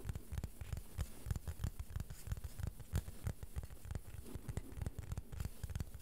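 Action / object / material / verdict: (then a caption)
tap / thin flat plastic board / plastic / none. Fingertips and nails gently tap and scratch the surface of a small, flat, thin, solid beige plastic board held in both hands. The result is a steady stream of soft, dry, irregular taps, about three per second, with a dull low thud and very little ring, mixed with light scratching.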